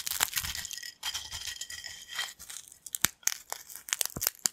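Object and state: Thin corn chips.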